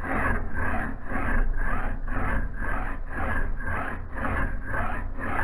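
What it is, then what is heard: Steel axe head being filed. A steel file is pushed by bare hands across the edge of a solid steel axe head clamped in a vise, making repeated rasping strokes in a steady rhythm. Each stroke gives a gritty scrape with a bright, high hiss over a low rumble that continues between strokes.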